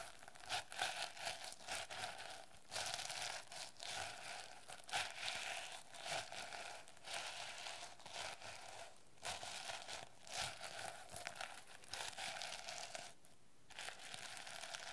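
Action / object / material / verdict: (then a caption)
scrape / plastic sequin notebook cover / plastic / none. Long nails scratch and flip the teal and yellow plastic sequins on a notebook cover. The result is a steady, bright crinkling and scratching texture with a faint mid-range tone. Brief dips interrupt it throughout.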